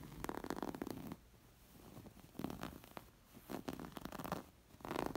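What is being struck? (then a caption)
Embroidered linen cushion. Long nails scratch a coral, square, stuffed embroidered linen cushion, first on its plain side and then over the embroidered stitches. Bursts of dry, rasping scratches are separated by quieter pauses, with a soft low-mid texture throughout.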